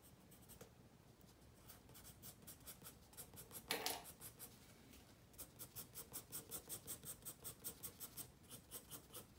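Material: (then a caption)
Paper. A wooden pencil makes short, rapid shading strokes on a page of a spiral-bound paper sketchbook resting on a wooden table. Soft, uneven scratching builds to a louder, brighter scrape, then settles into a steady run of quick, evenly spaced strokes with a dry, high grain.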